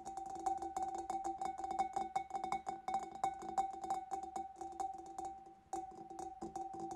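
Fingers and nails tap rapidly on the back and sides of a large, hollow, empty clear glass fish bowl. The quick, slightly irregular clicks each carry a short glassy ring centred near 780 Hz, with bright high ticks from the nails. There is a brief pause just before the six-second mark.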